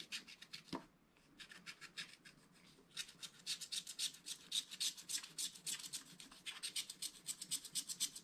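A wooden stylus scratches the upper sky and mountain area of a scratch-art card page in a spiral book with continuous strokes. The result is a quiet, bright, dry rasping made of quick repeated scratches, with a brief soft tap early on and a hushed lull before the strokes resume, growing denser and steadier toward the end.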